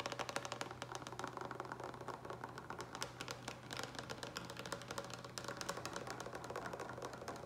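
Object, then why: Large plastic pitcher with lid. Fingertips and nails tap fast on the sides of a large, hollow green plastic pitcher with a lid that appears to be filled with water. The result is a dense, steady stream of quick, dry clicks with a hollow tone around 560 Hz, each tap dying away almost instantly over a faint, constant low hum.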